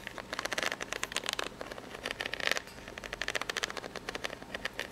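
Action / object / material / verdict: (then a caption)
scrape / corrugated cardboard box / cardboard / none. Long pink-polished nails scratch across the ribs of a corrugated cardboard box, probably empty and hollow, tilted flat. A rapid series of short, dry, bright scratching bursts rasps out, with a tone around 1.8 kHz and almost no low end. Each stroke dies away almost instantly.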